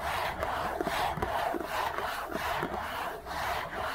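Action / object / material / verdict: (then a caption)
scrape / thin cardboard tissue box / cardboard / none. A Kleenex facial tissue box of thin printed cardboard, hollow with tissues inside, is held in the hands and scratched quickly with fingertips and nails. The result is a dense, continuous, steady scratching rasp with rapid rhythmic strokes, strongest in the mid range and bright on top, with little low end.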